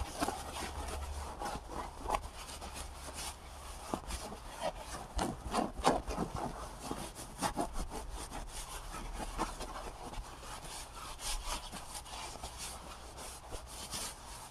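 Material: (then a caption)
Paper. Fingertips rub and scratch along the paper surface of a large, full, cylindrical roll of white embossed paper towels held in one hand. A steady, soft rasping texture runs throughout, with small uneven bursts of scratching over a faint low hum.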